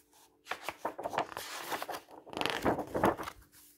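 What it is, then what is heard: Paper book page. Fingertips rub and slide flat across a black-and-white printed paper page of an open paperback book lying on a wooden table. Soft, dry, papery rustling and brushing comes in a run of uneven swipes. Faint quiet comes before and after, with a steady low hum underneath.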